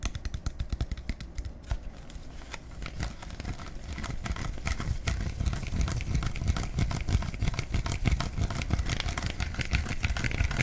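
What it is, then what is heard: Plastic bottle. A clear plastic soda bottle with a black cap and label is held in both hands and tapped with fingertips and nails on the cap and body. The result is a rapid, irregular stream of hollow, low thuddy taps mixed with sharp bright clicks that grow slightly louder over time.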